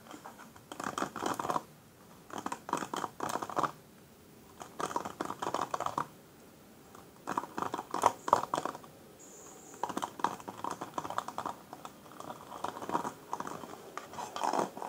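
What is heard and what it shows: Both hands with long pale nails scratch and strum across the plastic-tipped bristles of a black paddle hairbrush with a rubbery cushion, lying on a wooden table. The result is bursts of dry, rapid clicking and scratching, centered in the midrange, separated by short quiet pauses.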